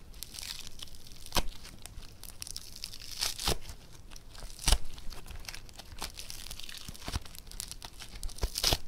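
Two hands pull apart a blue foam bead clay (floam) with pink and green streaks and squeeze it with their fingertips. The result is a steady, crunchy crackling and tearing, with bright, crisp snaps standing out every second or two above the quieter crinkling.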